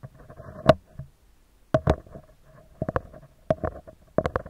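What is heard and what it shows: Fingertips and short nails of both hands tap and scratch the round, hollow metal mesh grille of a handheld recorder microphone. About nine sharp, dry taps land in small clusters over a soft scratchy rustle, each with a hollow mid-pitched ring that dies away almost instantly.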